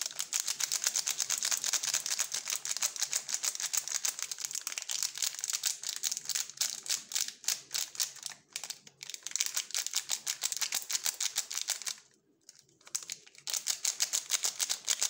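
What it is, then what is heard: Crinkling plastic film wrapper. A sealed purple plastic waffle bar wrapper is held in both gloved hands and is stretched, rubbed and crinkled with the fingertips. Dense, bright crackling of thin plastic film runs throughout, with brief pauses near 8.5 and 12 seconds.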